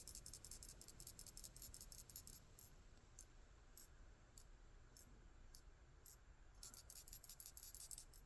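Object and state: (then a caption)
Fuel cap vent check ball moving freely. A Hyosung/Suzuki motorcycle fuel cap is shaken so the small check ball inside its vent rattles up and down. Quick bursts of faint, bright, high-pitched clicking come at the start and end, with a few isolated clicks in between, over a low background rumble. The ball moves freely, so the cap can vent.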